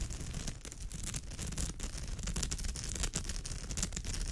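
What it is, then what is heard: Woven straw bag. Long pale almond-shaped nails scratch the woven straw or raffia surface of a bag, with both hands resting on it. The result is a steady, dense rasping scratch with a strong low rumble and bright, crackly edges that flicker as the nails drag across the weave.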